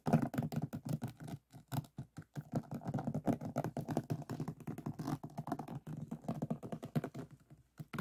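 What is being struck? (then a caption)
Finished diamond painting with resin drills on a board. Fingers scratch across the surface of a finished diamond painting made of resin drills on a flat board, moving near the edges and the center. The result is a dense run of short, dry, scratchy clicks and rasps, weighted toward the low and mid range, in quick bursts separated by brief pauses, with no ringing after each stroke.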